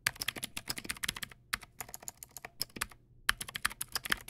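Fast fingertip typing on a Teamwolf Zhuque+ X08 backlit plastic mechanical keyboard with white plastic keycaps and clicky blue switches. Quick, bright, sharp clicks come in dense, uneven bursts, with short pauses between the runs.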